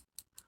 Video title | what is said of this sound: GRWM/GETTING READY FOR MY FASHION VIDEO | you gotta shake it up y'all hear the little ball in there